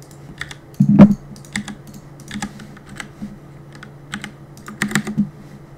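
Fingertips rapidly press the keys of a black Cooler Master mechanical keyboard with plastic keycaps and a solid plastic case, resting on a wooden desk, while gaming. Quick clusters of sharp, bright clicks ride over soft low thocks, with one louder burst near the start, all above a steady low hum.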